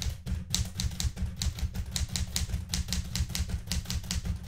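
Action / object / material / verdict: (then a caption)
tap / metal manual typewriter / metal / none. Fingertips type continuously on the plastic keys of a blue metal portable manual typewriter. A rapid, steady run of sharp, bright key clacks sits over a heavy low thud from the machine's body. Each strike dies away almost at once.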